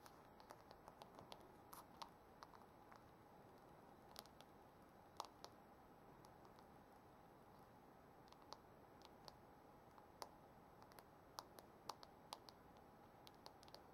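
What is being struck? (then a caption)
Metal phone case with rhinestones, tapped with fingernails. Several long nails tap rapidly across the back of a phone in a thin, hard, brushed silver metal case set with small rhinestones. Quiet, dense patter of light clicks plays over a soft steady hiss, with occasional sharper, bright ticks. Each tap dies away almost instantly.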